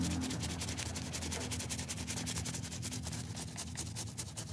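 A yellow-green stuffed plush cat toy, soft fabric with a solid stuffed body and wet with foam, is scrubbed by gloved hands with a stiff brush. Rapid, slightly uneven bristle strokes make bright, hissy scratching bursts over a steady low hum throughout.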